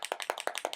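A bottle of frost white shimmer paint is shaken to mix it, and a small mixing ball rattles inside. A rapid series of short, sharp clicks with a midrange body and bright upper edges fills the clip, each one dying away almost instantly. The rattle shows the bottle contains its mixing bead.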